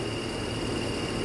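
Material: Nothing is struck.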